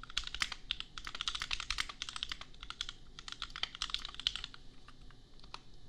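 Fingertips type steadily on a compact custom plastic mechanical keyboard with red and pink plastic keycaps and Gateron Milky Yellow switches, priced at $250. Rapid, bright, clacky keystrokes tumble out in quick succession, each crisp and short with almost no ring.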